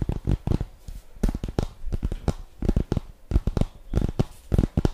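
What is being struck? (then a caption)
Cardboard makeup palette box. Long fingernails tap and scratch across the surface and edges of a flat rose-gold cardboard eyeshadow palette box with embossed letters, held in both hands. The result is a quick, uneven run of dull, low-heavy taps with short bursts of scratchy rustle, each hit dying out almost instantly.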